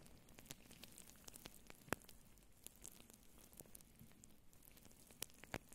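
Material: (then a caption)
Faux fur. Long nails scratch and rub a soft, hollow faux fur microphone windscreen with both hands, close up. The result is a quiet, crackly, sizzling texture of many short, bright scratches and clicks over a low, muffled rumble, with a few sharper snaps standing out.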